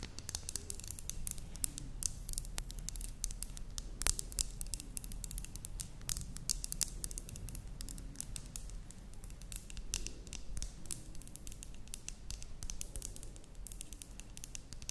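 Long nails tap and scratch a medium glass terrarium jar with a cork stopper, filled with black soil and moss. A quiet, steady stream of quick, bright clicks and scrapes runs throughout over a low, constant hum, each tap dying away almost instantly.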